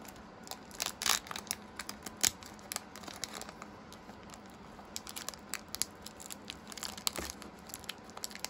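A small foil plastic booster pack, still full of cards and held in both hands, is crinkled and torn open along the top strip by fingertips. Dense, bright crackles and sharp rustling bursts come one after another over a quiet background, with the loudest tears near the start.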